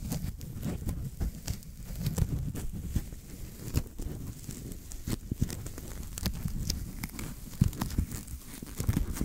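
A few folded, thin white paper napkins are held close to the microphone while fingers rub and crinkle them. The result is a steady, soft rustling, dominated by low, muffled handling noise and broken by many sharp, bright crackles.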